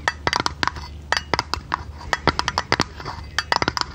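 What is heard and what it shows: Long red nails tap quickly and irregularly on a small oval metal tin lid with a silver rim and a blue painted top. Each tap is a short, bright metallic tick with a faint ring that dies away almost at once, leaving a soft low hiss between taps.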